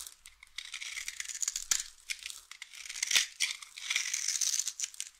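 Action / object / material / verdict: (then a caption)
scrape / bar of soap / soap / none. A utility knife blade carves scored cubes and flakes off the face of a solid, hand-sized, oval bar of dry pink soap held in the palm. The sound is a dense run of bright, crisp scraping and crumbling crackles with sharper snaps standing out, all high with nothing low.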